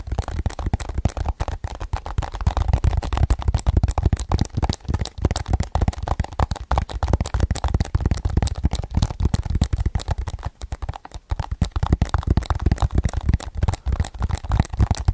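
A hollow hard plastic DVD or game case with a printed cover, held close to the microphone, is tapped rapidly with fingertips and nails. It makes a dense, fast stream of dry, short clicks and taps with a heavy low thump underneath. There is a brief lull around the ten-to-eleven-second mark before the tapping picks up again.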